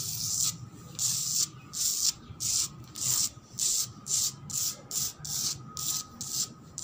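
A cement floor is scratched in twelve quick, separate strokes. Each stroke is a dry, bright rubbing hiss, like sanding, with short quiet gaps between them and almost no low end.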